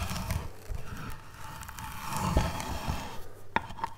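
A wooden-handled steel chisel cuts and scrapes across a solid, light-colored basswood relief carving panel in short chopping strokes. The sound is a low, dull, continuous scraping and shaving, broken by a few sharper taps as the blade bites into the surface.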